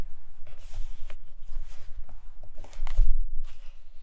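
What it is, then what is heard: Paper book pages. Long acrylic nails scratch and tap on the paper pages of an open hardcover book resting on a carpet. The result is soft, papery scratching and brushing with bursts of bright rustle, small taps, and a low constant rumble underneath.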